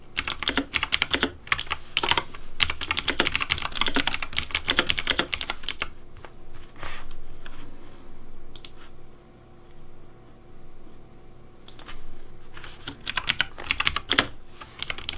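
Fingertips type on a pink Razer DeathAdder V3 plastic mechanical keyboard with hollow plastic keycaps, producing rapid, bright, clacky keystrokes. A dense burst of typing runs for about six seconds, drops to a few scattered clicks over a quiet stretch, then resumes quickly near the end.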